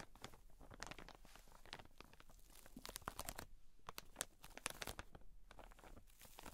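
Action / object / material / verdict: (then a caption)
scrape / cotton wool pack in plastic wrap / plastic film / none. Long nails tap and scratch across the plastic wrap of a soft, full pack of cotton wool, using both hands. A dense run of quick, crisp clicks and rustling crinkles is heard, with bright transients over a soft low rumble. The sound stays quiet and steady throughout.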